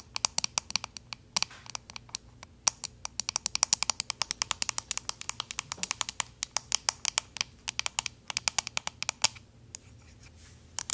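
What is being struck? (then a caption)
Plastic paddle hairbrush back. Paperclip fake nails tap and scratch the back of a pink plastic paddle hairbrush in a rapid, uneven run of bright, dry clicks with faint scratchy texture between them. Each tick is sharp and dies away almost instantly, with a brief lull near the end before a few final taps.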